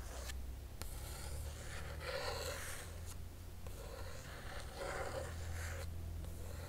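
A long nail traces across the printed paper pages of an open hardcover book. It makes soft, continuous dry scratching and rubbing strokes over a steady low hum.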